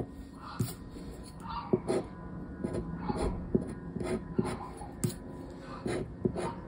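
A hand scratches the silver latex panel of a flat, thin coated-paper Mega Pé-De-Meia lottery scratch card, lying on a wooden table, with a round black plastic scraper disc. About 11 short, dry scraping strokes rasp across the card, each with a brief bright scratch over a low rubbing texture, separated by quieter friction.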